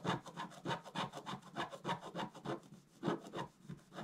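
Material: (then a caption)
Coated paper. A wooden stylus scratches quick vertical strokes across a flat, black-coated scratch-art paper card. The result is a steady series of short, dry, rasping scrapes, each with a bright, papery edge over a soft low body.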